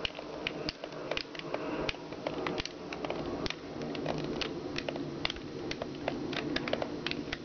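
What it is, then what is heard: Plastic toy giraffe. Long red nails tap and scratch the body and raised shapes of a hollow yellow plastic giraffe push toy on wheels. Quick, bright plastic clicks with almost no ring land over a steady, rustling scratch that grows slightly louder after the first second.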